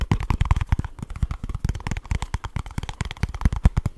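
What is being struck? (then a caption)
Small cardboard box. Fingernails scratch rapidly and fingertips tap quickly on a small kraft cardboard product box. The result is a dense, fast stream of short, dull, low thuds with faint papery scratching between them.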